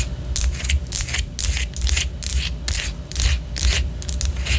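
Long orange nails scratch and tap a white solid wax pillar candle, making a run of quick, irregular, bright rasping strokes over a steady low rumble. Each stroke fades almost at once.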